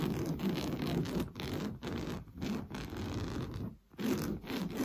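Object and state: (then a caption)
Fabric sofa cushion being scratched. Fingernails scratch quickly back and forth across a large padded sofa cushion covered in orange coarse-weave fabric. The result is a dense, low-weighted rasping scratch with little brightness, broken by brief pauses between strokes.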